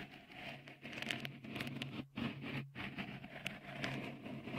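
Fingertips tap and rub a small, hollow, white, dimpled textured silicone cover on the right microphone capsule of a Tascam recorder. The result is close, crackly patter and soft scraping with bright, crisp detail, over a steady low hum.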